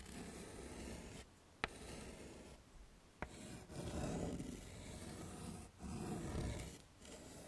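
A hand writes on a flat dark chalkboard in a wooden frame with a stick of yellow chalk, scraping it across the surface. Gritty, broadband scratching strokes come in bursts separated by brief pauses, with two sharp taps as the chalk strikes the board.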